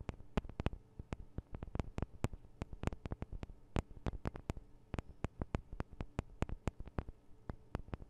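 Long decorated acrylic nails tap about 38 times on the two small hollow cylindrical microphone capsules of a handheld Tascam DR-40 recorder, which have metal housings and guards on a plastic body, sometimes scratching lightly. The taps are quick, dry clicks in an uneven rhythm, each with a deep, bassy thump and almost no ring. The whole sequence stays quiet against a low background hum.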